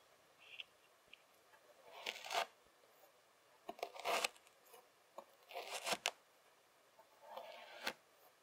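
The tines of a white plastic fork rake and scrape one end of a long packed strip of beige kinetic sand on a table. The result is a series of soft, gritty, bright scratching bursts with quiet pauses between them and almost no low end.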